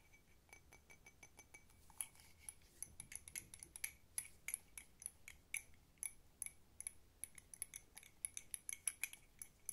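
A hollow, empty blue patterned cup that appears to be ceramic is tapped quickly with long nails on its sides and rim. The result is a rapid run of dry, bright clicks and clinks with a high ringing tone that dies away almost instantly, over a faint background hiss.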